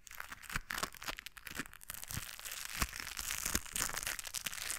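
A pair of white knit work gloves with a blue textured rubber coating crinkle and rub together just above a microphone. It makes a steady, bright crinkling and scratchy rubbing, broken by sharp crackles and soft thumps throughout.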